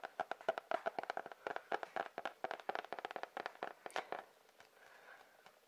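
A sketchbook with a cardboard cover is tapped with quick, irregular fingertip-style taps. Each tap is short and dry, with a hollow mid-range knock and almost no low end. After about four seconds the tapping stops and a faint, soft rustle trails off.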